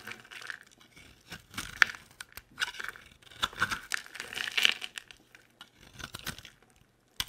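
A utility knife blade scrapes and carves the edge of a hand-sized, solid, oval yellow bar of soap with holes, producing crumbly shavings. Short, dry, bright crunching and scraping bursts come in irregular clusters with brief pauses, with almost no low end. The clip ends on a single sharp tick.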